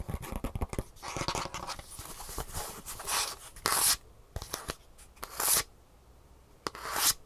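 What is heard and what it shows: Long fingernails tap and scratch the green plastic heel cup, fitted with metal rivets, on the gray foam underside of a Superfeet shoe insole. A burst of fast, dry tapping gives way to rough, crackly scraping, broken by several short, loud, bright hissing scratches.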